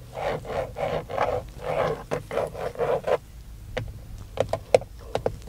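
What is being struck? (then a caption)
Moulded plastic steering wheel centre pad. Fingertips scratch and tap the hollow moulded airbag cover at the centre of a Dodge van steering wheel, a textured black plastic pad with a chrome emblem. About three seconds of rhythmic, raspy scratching strokes centred in the midrange come first. These are followed by sparse, sharp, dry plastic taps that die away almost instantly.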